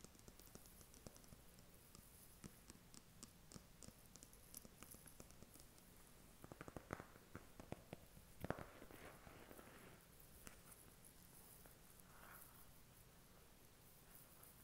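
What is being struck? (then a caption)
Cardboard makeup palette. A flat white cardboard makeup palette, held in both hands, is tapped with fingernails across its embossed cover. The result is a quiet, steady run of soft, dry clicks and light patter with very little ring.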